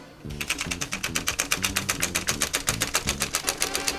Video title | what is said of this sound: Classic Game Room - SEGA GENESIS MK-1470X controller review | when you shake it and strangle it it makes a little rattling rattling sound